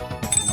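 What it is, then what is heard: Old coin in good condition. A 1978 Rp100 coin is dropped into a small bowl as a second test after spinning it. It strikes twice and gives a bright, high metallic ring that carries on briefly. The coin is judged to be quite good, a real old coin.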